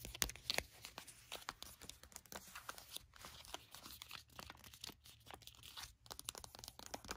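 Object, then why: Foil sheet-mask sachet. Long nails tap and scratch the surface of a flat grey bottle-shaped foil face-mask sachet lying on a blanket. Rapid, bright crinkling and crisp taps fill the clip, with many quick, sharp hits that die away almost instantly.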